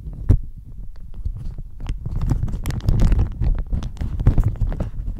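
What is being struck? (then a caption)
Thin plastic shower cap stretched over a microphone. A thin floral plastic shower cap with an elastic edge, fitted over a microphone, is scratched and squeezed with long nails and fingertips. Dense, rapid crinkling and scratching crackles build into a continuous rustle. The sound is dominated by a deep, muffled rumble, with brief bright edges on the sharper scratches.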